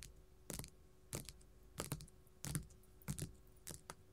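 A flat pink glitter faux leather sheet lying on a table is tapped and scratched with gold metal filigree claws. Short, bright, crackly taps and scratches come in clustered bursts at a loose, steady pace, each dying away almost at once over a faint low hum.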